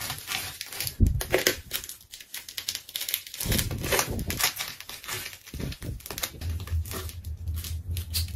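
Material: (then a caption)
Plastic tape. A craft knife cuts through a pink layered plastic tape ball, producing dense, continuous tearing and crinkling with a bright hiss. Low thuds and a low rumble sit under the crackle, with a sharp louder burst near the one-second mark.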